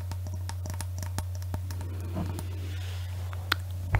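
A clear hollow glass Christmas bauble with an Eiffel Tower inside and "Paris" lettering, hanging from a string, is tapped with long nails. Quick, light, irregular clicks and scratchy taps sound over a steady low hum, with a couple of sharper taps near the end.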